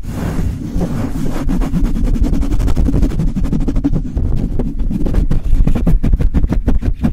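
Long light-blue nails and fingertips scratch and tap the bare metal mesh grille of a Blue Yeti microphone in quick strokes. A dense, boomy low rumble runs throughout, overlaid with rapid, irregular scratchy ticks that grow sharper and more distinct toward the end.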